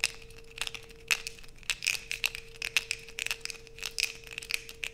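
A solid blue bar of soap, held in hands over a black plastic sheet, is scraped with long white acrylic nails, and the shavings fall onto a pile. The scraping makes a rapid series of short, bright, crisp scratches and clicks with a ringing edge near 2.6 kHz and almost no low end. A faint steady tone hums underneath throughout.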